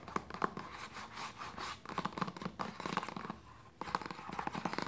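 A hollow white plastic lotion bottle with a red cap is tapped and scratched with long nails and fingertips. Quick, dry clicking taps with a hollow tone around 1 kHz mix with brief bursts of scratchy rasping, each sound dying away almost at once. The pattern pauses briefly near the end before the rapid tapping resumes.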